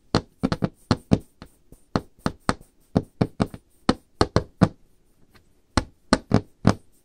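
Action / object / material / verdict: tap / wooden table top / wood / none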